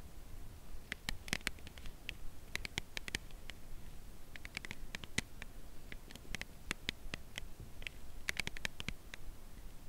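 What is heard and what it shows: Long nails tap the narrow edge of a full cardboard chocolate bar box held horizontally. The result is a slow, uneven series of short, dry, bright clicks with no ring, over a soft low background rumble.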